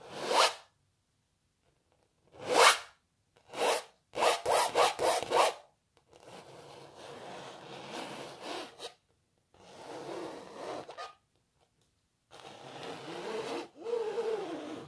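Long natural nails scratch the surface of a canvas painting of a cellist. A few separate, bright, dry scratches come first, then a quick run of short strokes, then three longer, softer rubbing passes with brief pauses between them.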